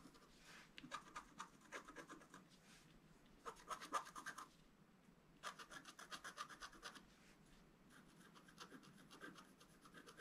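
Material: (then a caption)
Coated card. A wooden stylus scratches away the black coating of a flat scratch-art card (black coated board) with a colored foil layer beneath, held flat on a table, in fine strokes. Quick, dry, bright rasping scratches come in clustered bursts separated by quieter stretches, thin with almost no low end.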